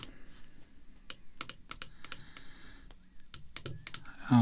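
Long red fingernails tap on the top face of a thick clear acrylic screw-down holder containing a "Master & Mentor" baseball card, lying flat on black cloth. Sharp, bright clicks come in quick irregular clusters over a soft low background, with a louder, fuller rustle at the very end.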